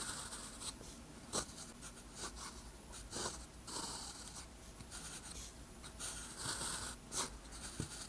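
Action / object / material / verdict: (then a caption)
scrape / paper sheet scratched by a metal pen nib / paper / none. A metal pen nib scratches across a flat, thin sheet of lined white paper while writing Korean text. The clip is quiet, with bright, scratchy strokes and short taps that come in uneven bursts over a soft, steady hiss.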